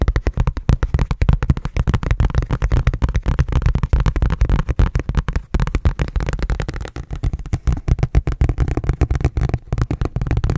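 Fingertips and nails tap and scratch a large, thin, hollow red ridged plastic food container lid held close. The result is a rapid, steady stream of dull, low, hollow thuds with no ring, each tap dying away almost instantly.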